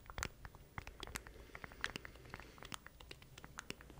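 Fingertips tap and scratch the surface of a small black plastic stream deck controller with button keys, held in both hands beside the mic. Quick, dry, quiet clicks and bright scratchy taps follow one another in a rapid, irregular patter, each dying away almost at once over a low steady hum.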